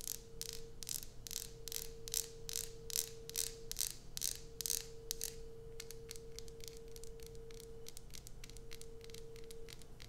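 Long nails scratch and tap the embossed surface of an unwrapped, solid light-blue Coast bar soap held in one hand. For the first five seconds, bright, rasping scratch strokes come in a quick uneven rhythm, then give way to lighter, sharper ticks and taps. A faint steady hum runs underneath throughout.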